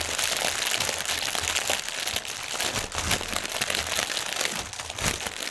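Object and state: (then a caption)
Plastic air pillow packaging. Fingertips and nails tap rapidly on a strip of clear, inflated plastic air-pillow packaging cushions and crinkle the film. The result is a dense, continuous, bright crinkling and crackling that stays at a steady level throughout, with quick, short taps blurring together and little low end.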